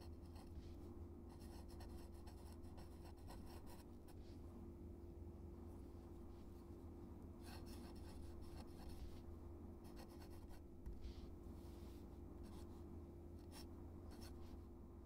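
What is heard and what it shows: A metal-nib dip pen scratches across a flat white paper card taped to a dark surface as it writes cursive text. Faint, bright scratchy strokes come and go over a steady low hum that dominates the quiet recording.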